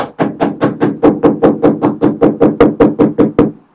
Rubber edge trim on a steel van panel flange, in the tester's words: listen to the note change, and then when you've got that note uniform all the way around